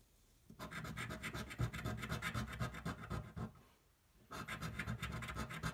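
A coin edge scratches a thin, flat cardboard scratch-off lottery ticket held flat on a table, producing quick, rhythmic rasping strokes with a low, papery body and bright grit. The scratching runs steadily for about three seconds, pauses briefly, then resumes.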